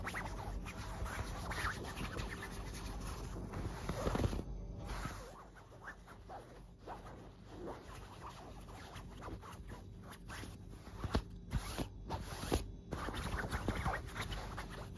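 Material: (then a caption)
Fabric. Long black nails scratch back and forth across a white fabric duvet, with some knuckle rubbing against the cloth. The scratching makes a close, continuous rustling that softens through the middle, then returns with sharper, louder scrapes near the end.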